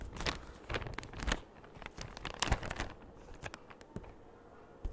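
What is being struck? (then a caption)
Thin clear plastic bag. A large, empty, thin clear plastic bag is held up in both hands and stretched, pulled and crinkled by the fingers close to the microphone. Irregular bursts of bright, crackly rustling rise and fade over a soft low rumble, with brief louder crinkles between quieter stretches.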